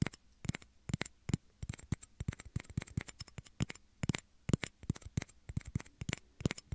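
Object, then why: Small plastic shot glasses. Two small, hollow, empty clear plastic shot glasses are held beside the microphone ears and tapped and scratched with fingernails. The result is a rapid, irregular run of short, dry clicks and scratchy ticks with a faint hollow low body and bright edges.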